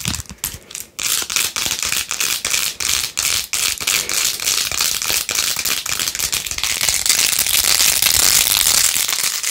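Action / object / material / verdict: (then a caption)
scrape / plastic phone case studded with plastic beads / plastic / none. Long nails scratch fast over the beads of a plastic phone case covered in pink faux-pearl gems with a rose-gold rim. The result is a dense, bright, crackling scratch of rapid, uneven strokes with almost no low end. It starts softer for the first second, then holds steady and grows slightly brighter toward the end.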